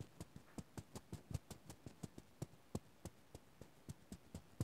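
Fingertips scratch and rub across the fuzzy light blue terry fabric of a small stuffed Oswald Tsum Tsum plush toy held in the other hand. About 21 quiet, brief, soft scratching strokes come in a steady rhythm, each a dull low thump with a faint bright fuzzy edge.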